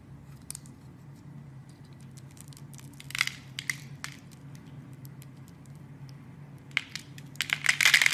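A blade scores a grid into a solid yellow oval soap bar and cuts off small cubes, making crisp, bright scratching and snapping cuts over a faint low hum. The cuts come irregularly, with a louder cluster around the middle and a dense burst of crumbling cuts at the end.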